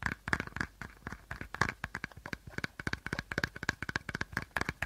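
Short fingernails tap and scratch the body of an empty, hollow clear plastic bottle held sideways with a teal cap at one end. A rapid, uneven run of about 28 dry, crinkly taps and scrapes is heard, each with a hollow plastic resonance near 1.7 kHz that dies away almost instantly.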